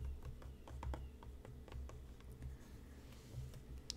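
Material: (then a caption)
Cardboard. Fingertips and nails tap quickly and irregularly on the front and top of a hollow, printed cardboard tea box resting on a cutting mat. Each tap is a short, dry click that dies out almost at once, over a steady low hum. Faint music may be playing in the background.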